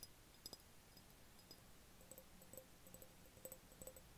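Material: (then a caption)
Glass. An empty, medium-sized clear glass jar with no lid, held over a bed, is tapped with the fingertips. The quiet, scattered taps each give a brief hollow glassy ping around 520 Hz with bright high glints, dying away almost at once over a soft background hiss.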